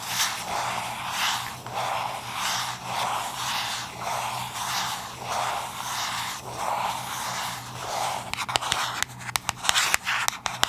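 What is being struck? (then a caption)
Small cardboard box. Long acrylic nails scratch a small, hollow, yellow cube-shaped cardboard box held in the hands, making rhythmic, bright, papery scraping strokes that swell and fade for about eight seconds. The scratching then gives way to a quick run of sharp, dry taps on the box. A faint, steady low hum sits underneath throughout.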